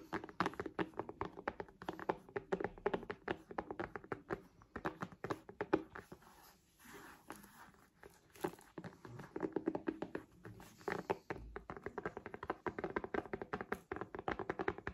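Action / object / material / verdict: tap / tablet in a plastic folio case tapped with long nails / plastic / none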